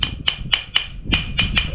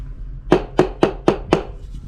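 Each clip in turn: First: Seven quick, high, dry ticks with almost no ring: a ceramic floor tile still firmly bonded down. Second: Five quick, evenly spaced taps give a short, papery knock around the mid-low range: a hollow, loose floor tile.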